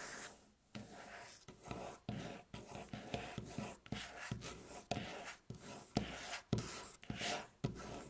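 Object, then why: Wooden or laminate tabletop. Long natural nails scratch and tap across a flat, solid, light beige wooden tabletop (possibly laminate), with fingertips rubbing in between. Dry rasping strokes alternate with short, sharp taps that die away almost instantly, all at a soft, close level.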